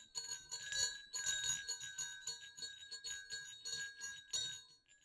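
Two small hollow silver metal jingle bells on a dark string over black cloth are jiggled and shaken by an unseen hand. The result is a steady run of bright, high jingling: quick clicks and tinkles with short dings that fade fast between shakes.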